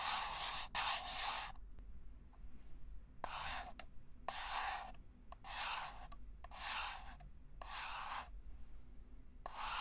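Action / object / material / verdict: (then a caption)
scrape / paper cup / paper / none. A small, hollow, empty red-and-white disposable paper cup is held in the hands while fingertips and nails tap and scratch its wall and base. Bursts of dry, bright scratching alternate with short pauses and sharp little taps, over a faint low background hum.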